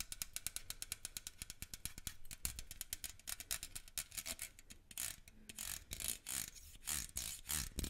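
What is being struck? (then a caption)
Slotted metal microphone grille. Fingernails scratch along the slotted metal grille of a small black microphone held in one hand. A fast run of sharp, bright ticking scrapes gives way after about five seconds to slower, longer rasping strokes, each with a faint low thump underneath.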